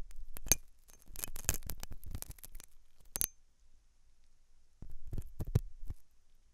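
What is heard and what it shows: A hooked metal dental tool scratches inside the ear canal of a white translucent silicone ear model, soft solid rubber, likely on a binaural ear microphone. Close, crackling scrapes come in bursts with bright metallic clicks and brief high glints, then a pause before a few more scratches.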